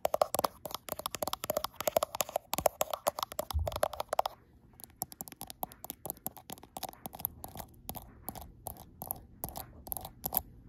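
Long acrylic nails with black tips tap and scratch the frosted glass back of a gold iPhone Pro, held in view of a mirror. Rapid, dense clicking taps with a scratchy texture fill the first four seconds, along with a brief low thump. Quieter, sparser, sharp ticks follow, each with a mid tone near 620 Hz and a bright edge.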